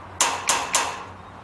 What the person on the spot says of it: have a friend go to the other end and tap on it you can hear the sound through the fence